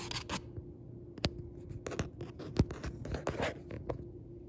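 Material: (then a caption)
Paper. Several fingertips tap and scratch the printed paper page, a Target Book Club Pick insert, of a paperback book lying open on a wooden table, over its solid stack of pages. The result is quiet, dull, irregular taps mixed with dry papery scratching, and a faint steady tone runs underneath.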